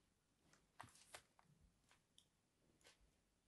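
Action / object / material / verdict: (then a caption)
scrape / solid bar of soap scored with a blade tip / soap / none. A solid white, palm-sized bar of soap is held in one hand and scored with the pointed tip of small scissors or a blade, scratching lines into its surface. Seven quiet, dry scrapes with bright, hissy edges are heard at uneven intervals, each dying away almost at once.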